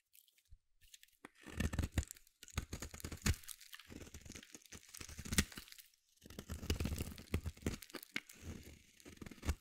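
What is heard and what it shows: A solid blue bar of soap, held in one hand, is shaved with a metal utility blade in a series of scraping strokes. The result is dense, crisp crunching and tearing sounds that arrive in bursts, with short quiet gaps between passes.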